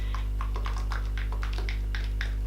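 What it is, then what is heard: Shaken skincare bottle with separated liquid. A plastic bottle of AHA/BHA skincare fluid is shaken, giving a quick run of short, dry sloshing clicks over a steady low hum. The formula separates and must be shaken every day, and even after shaking it often holds small lumps of cream in a thin fluid.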